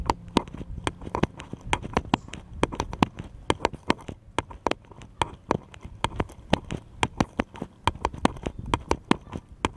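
A small, solid, unfinished wooden bottle-shaped cutout is held in both hands and tapped rapidly with fingertips and nails. About forty short, dry, woody taps come in an uneven, quick rhythm, each with a sharp bright click over a soft low knock and almost no ring.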